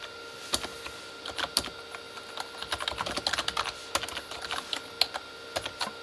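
Both hands type with their fingertips on a full-size, hollow Corsair K35 backlit mechanical keyboard, with plastic keycaps on a plastic body. They produce an irregular stream of bright, clicky plastic taps that stop almost instantly, with quicker bursts in the middle and a few louder strikes standing out. A faint steady tone runs underneath.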